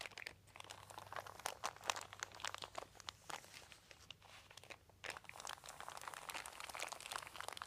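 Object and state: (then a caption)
Crinkled plastic sheet. A flat hand and fingertips rub and crinkle a large, thin, crumpled white plastic sheet. The result is a dense stream of quiet, bright crackles and sharp little pops, with a brief softer lull around the middle before the crinkling picks up again. A faint low hum sits underneath.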